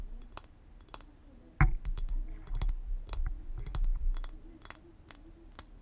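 Long acrylic nails tap and click on the round, textured body of a clear glass liquor bottle held in hand, with a wooden-topped cork. A run of sharp, bright clicks and clinks, with one louder knock and some low handling rumble.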